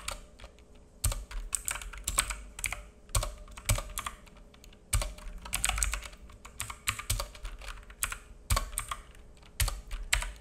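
Fingertips of both hands type on a black full-size mechanical keyboard with plastic keycaps and a hollow case, resting on a wooden desk. Quick, sharp clacks come in irregular bursts, each with a bright click and a hollow low thump. A faint steady hum sits underneath.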